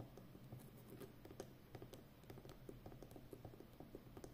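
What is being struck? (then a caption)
Plastic packing tape roll on a cardboard core. Long nails tap and scratch around the outer edge of a full, hollow roll of brown plastic packing tape on a cardboard core. About fifteen quiet, dull taps with brief bright clicks sit over a soft, low scratching bed, and each tap dies away quickly.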